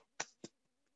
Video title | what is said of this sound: Webinar: Microflex Advance Application & Demos - Shure | you can hardly hear it i'm absorbing the sound and transmitting into heat